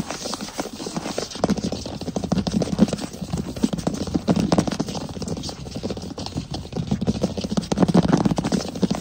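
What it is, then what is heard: Wooden floor. Fingertips tap and scratch quickly on a wood floor. The result is a dense, continuous run of short, dull, low-pitched knocks that blur together with a light scratchy texture.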